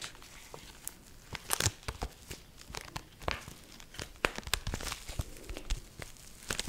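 A medium purple printed plastic and foil stand-up snack pouch, held in both hands close to the microphone, is crinkled and squeezed by fingers with long nails. The result is quiet, dry crinkling and crackling with short, sharp bright bursts scattered throughout.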